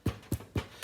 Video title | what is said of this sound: BrightView Farm Day 5 of the Pandemic Making Sourdough | It's nice and hollow sounding, so you know that it's risen a lot